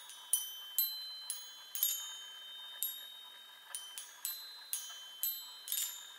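Long nails tap the hollow metal tubes of a small handheld chime on a wooden frame, producing a series of irregularly spaced, bright, high-pitched metallic pings. Each ping is quiet and decays quickly, leaving a faint shimmering tone between strikes.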